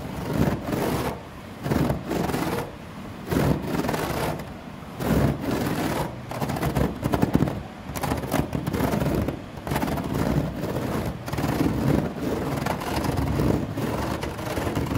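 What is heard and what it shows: Fingernails scratch along the strands of a grey synthetic rattan table top with a woven plastic wicker surface. The result is a series of irregular, muffled scraping strokes, low and dull in tone, with short pauses between passes.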